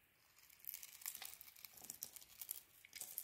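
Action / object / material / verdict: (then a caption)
scrape / bar of soap carved with a blade / soap / none. A utility knife blade carves and scrapes the outer layer off a solid, hand-sized purple bar of soap with dark stripes and a Cleopatra logo, held in a palm with long dark nails, exposing the cream-colored inside. The result is quiet, dry, crinkly scraping made of dense, bright little crunches and shaving sounds that build in irregular bursts, with almost no low end.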